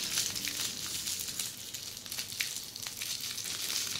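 A flat sheet of red air-filled plastic bubble wrap lies on a surface while long polished fingernails scratch and press across it. The result is a steady, bright crinkling and scratching texture, almost entirely high in pitch, with small sharp ticks scattered throughout.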